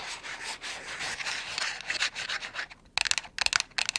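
Long nails scratch and rub a small, hollow white cardboard box, starting with a soft, continuous, bright scraping for the first few seconds. After a short pause comes a series of quick, sharp scratch strokes with a crisp, high papery rasp.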